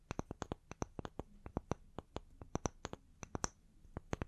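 Two small, solid round wooden log slices, held upright and hanging from the fingertips, are rapidly tapped and scratched on their faces and edges with long nails. About twenty-two quick, dry taps ring out in an uneven, irregular rhythm, each cutting off almost instantly, with a faint scratchy rustle between them.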